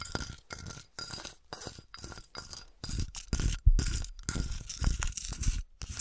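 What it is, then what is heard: Melted glass bottle. Fingertips and long nails tap and scratch a flattened, melted, empty clear glass bottle with a textured surface as it is held up and tilted. Quick clicking taps mix with rough scratching bursts, separated by brief pauses and growing louder toward the middle, over a faint steady hum.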